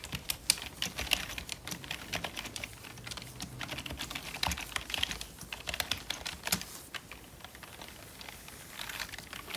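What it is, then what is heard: Plastic membrane computer keyboard. Gloved fingertips type quickly on a full-size, hollow black plastic membrane computer keyboard. The result is a fast, steady stream of short, bright clacks with almost no ring, a few louder taps standing out, and a soft low rumble underneath.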